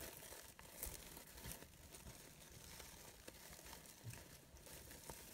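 Long pink nails and fingertips rub and crinkle a small green-blue glittery synthetic fabric rose brooch with hollow, layered, organza-like petals and glitter edges. The result is a quiet, steady crinkling rustle with bright, airy texture, broken by a few sharper crackles.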